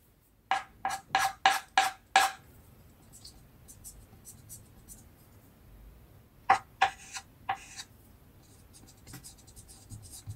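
A small piece of white chalk held in the fingers scratches fine detail lines onto the body of a finished chalk dog drawing on a flat black card sheet. A quick run of six bright, scratchy strokes, each carrying a faint squeaky tone, is followed by a quiet pause with soft rubbing, then four more strokes. Light scratching trails off at the end.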